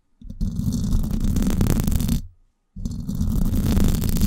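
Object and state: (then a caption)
Metal mesh microphone grille being scratched. Long acrylic nails scratch the hollow silver woven-wire dome grille of a Blue Yeti microphone in two continuous bursts separated by a brief silence. The result is a dense, rumbling scratch dominated by deep low frequencies with faint bright hiss above.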